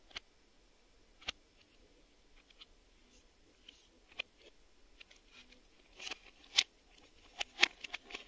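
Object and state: Plastic VHS video cassette.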